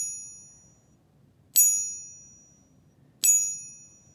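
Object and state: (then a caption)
Genuine silver bar. A silver bar with a different manufacturing process, finish and purity is pinged twice. Each strike gives a bright, high ring with stacked overtones that fades over about a second, and a ring from an earlier strike dies away at the start. The ring is clear and sustained, sounding like authentic silver.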